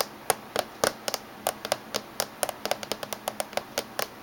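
Fingertips and medium-length natural nails tap rapidly along the top surface and edge of a closed silver laptop with a hollow plastic body, possibly with metal trim, and USB and VGA ports on its back edge. About 21 short, dry, clicky taps come in an uneven rhythm, each with a midrange knock near 750 Hz and a bright click. None of them ring on.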